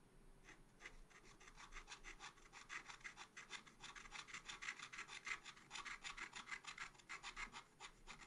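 A pointed wooden stylus scratches and hatches across a black-coated scratch art paper page in a small spiral pad. It makes a quiet, steady series of quick, dry, raspy strokes, bright and centred around 2 kHz, with almost no low end. Each stroke is short and leaves no ring.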